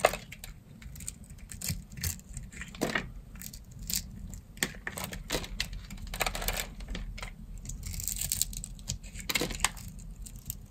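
A blade scores a solid, hand-sized translucent green bar of dry soap, held in the hand, in a grid and chips off small cubes. Rapid dry, crisp scraping and clicking cuts follow one another with bright crackling edges, each dying away almost instantly over a faint low rumble.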